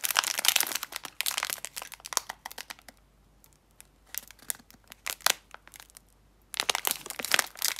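A full 35 g Nestle chocolate muesli bar in a thin, hand-length plastic/foil-film wrapper is held flat in both hands and turned over while long red-painted nails and fingertips squeeze, rub and crinkle the wrapper against the bar. Dense bursts of bright, crisp crinkling and crackling come in clusters, separated by quieter stretches with only sparse individual crackles, before a final loud flurry.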